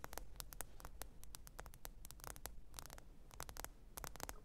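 Long pointed nails tap the glass screen of a small, thin, solid black smartphone lying flat, screen up, on faux fur. Quick, dry, bright clicks come in irregular clusters, each dying away almost instantly, over a steady low rumble and faint hiss.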